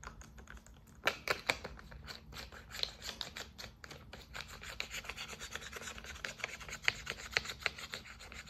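A hand holds a clear bottle, probably plastic, partly full of orange soap or lotion with a white plastic pump top, while fingertips and long nails tap and rub the pump head and the labeled sides. Many quick, bright, dry taps and clicks sit over a constant scratchy rubbing. A few sharper taps stand out, and each sound dies away almost instantly.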